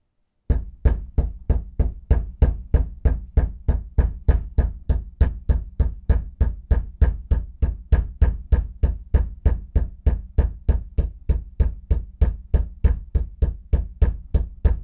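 A bathroom floor is knocked with a fist in a steady, rapid rhythm of 47 dull, low thuds over about 15 seconds. Each knock is short and deep with almost no ring.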